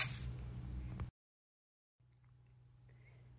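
A small, colorful egg shaker baby rattle from Mellie's Kids is shaken, producing a bright, dense rattling burst for about a second. The rattle then cuts off abruptly, followed by near silence and a faint low hum.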